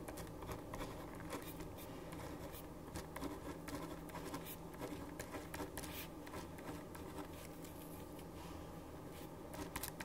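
A black ballpoint pen writes on a blank white sheet of paper that rests on a wooden desk and is held steady by the other hand. The nib scratches steadily, with many brief, bright strokes and ticks over a constant low hum.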